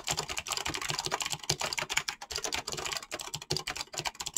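Fingertips type fast on a mechanical keyboard with clicky switches and PBT plastic keycaps. A rapid, dense stream of bright, sharp clicks and clacks is heard, each key strike short and crisp with almost no ring.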